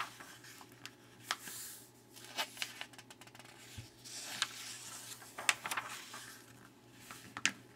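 Fingertips rub and slide across the pages of an open glossy Chicago magazine lying flat on a wooden table, then turn the pages one by one. Soft, bright papery swishes rise and fall, broken by short, crisp snaps and ticks as each page flips.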